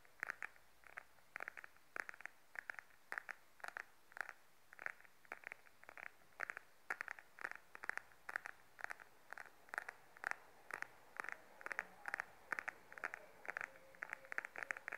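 Fingernails tap and scratch the face of a small, beige, glossy patent faux leather wallet held upright. The result is a quiet, steady stream of short, dry clicks with a bright, plasticky tone centred near 1.8 kHz. Brief scratchy rasps fill the spaces between the taps.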